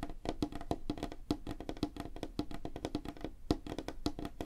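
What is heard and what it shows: Fingertips and nails of both hands tap rapidly on a flat, solid, light wooden tabletop. The result is a dense stream of short, dry wooden knocks with a woody tone around 300 Hz and clicky bright edges from the nails. Each tap dies away almost instantly.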